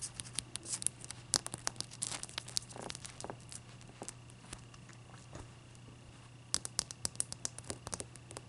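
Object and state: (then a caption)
Clear ice block. Long nails tap and scratch the faces of a single solid clear ice block resting on a towel while it is turned by hand. Sharp, bright clicks and scrapes come in quick clusters, with a quieter stretch in the middle, over a steady low hum.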